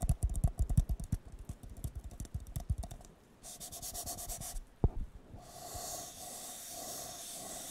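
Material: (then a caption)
Paper. A hollow, empty blue disposable paper cup has its bottom tapped and scratched with fingertips. The first three seconds bring a fast run of dull, low, thumpy taps. Bursts of bright, hissy scratching follow, broken by one sharp knock as the cup is turned upright.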